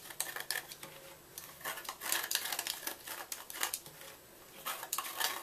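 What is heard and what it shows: A red-handled knife scratches and scrapes the inner walls of a white gym chalk block as it is hollowed out. The result is a quick run of dry, gritty scrapes and ticks, bright and high with almost no low end, with short pauses between bursts.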